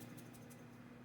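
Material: Nothing is struck.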